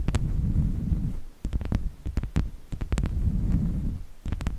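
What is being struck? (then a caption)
Small round slice of wood with bark. Long nails of both hands tap and scratch a small, solid, round slice of natural wood with a bark edge, resting on a fluffy microphone windscreen. Short, sharp clicking taps come over a deep, soft low rumble, with brief quieter gaps between bursts.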